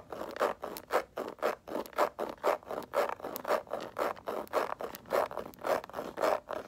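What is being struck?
Faux leather handbag.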